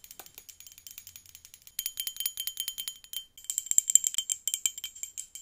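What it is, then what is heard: Glass hourglass tapped with nails. Long pink acrylic nails tap rapidly on a small hand-held hourglass with a clear glass body, partly filled with blue liquid and held up. The taps are bright, high, and brittle, with a glassy tick that stops almost instantly. They start soft, then grow louder and denser in two later bursts.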